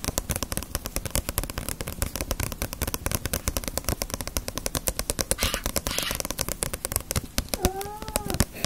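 Long nails tap rapidly on the glossy paper front cover of a small, solid paperback Ace of Diamond manga book held upright. The result is a dense run of dozens of short, dry clicks with no ring, and a brief gliding tone appears near the end.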